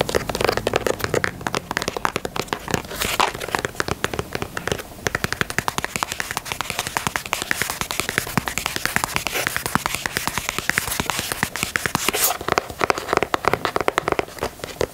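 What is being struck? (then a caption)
Leather sneaker toe box. Long nails tap and scratch the perforated white leather toe box of a black and white leather Nike Dunk sneaker. The clip is a dense, rapid stream of short, dry clicks and crinkly scratches with a bright, crackling edge, holding steady for the whole 15 seconds.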